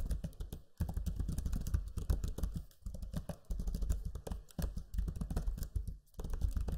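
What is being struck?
Plastic laptop keyboard.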